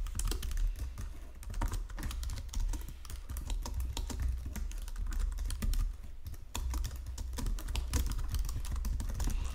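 A full-size white and silver plastic Logitech keyboard with low-profile keys sits on a marble desk while fingertips with painted nails type steadily across the keys. Rapid, short clicky keystrokes run continuously with a brief pause near six seconds, over a low hum.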